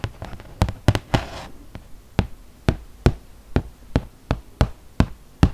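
Long nails tap and scratch across the glossy printed surface of a flat, solid cardboard ludo board, about 30 cm square, held in one hand. A steady series of short, dull, low knocks with almost no ring is heard, with a brief scratchy rasp early on.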